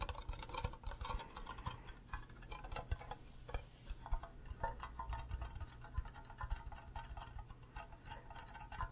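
Fingernails tap and scratch the base and sides of an empty, green, cube-shaped hollow plastic Minecraft creeper mug. Quick, dry, hollow clicks and scraping strokes follow one another densely over a low, dull body, with mid-range plastic tones and no ring after each contact.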